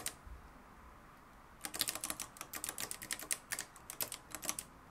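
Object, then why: Plastic and metal manual typewriter. Fingertips type continuously on the dark plastic keys of a mustard-yellow, plastic-cased manual typewriter with a metal mechanism. After a single early click and a quiet pause, a rapid run of sharp, bright, dry clacks follows, each dying away almost instantly with little low end.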